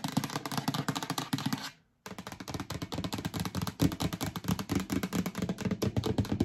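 Long acrylic nails rub and scratch the sides and lid of a yellow hollow plastic storage bin with a lid, which is held up. The sound is a rapid, dense run of short, hollow clicks and scrapes with a low-mid body. It breaks off into brief silence just before the 2-second mark, then resumes steadily to the end.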